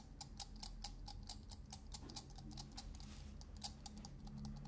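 Fingernails scratch and tap the ridged metal dome lid of a small glass salt shaker, making a quick run of sharp, bright ticks. Each tick cuts off almost at once, over a steady low hum and soft scratching.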